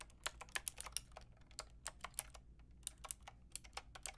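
Fingertips and long nails type at an uneven pace on a full pink, grey and white mechanical keyboard with round plastic keycaps. About twenty-two short, bright, clacky keystrokes come in quick irregular bursts with brief pauses, each dying away almost instantly over a faint low hum.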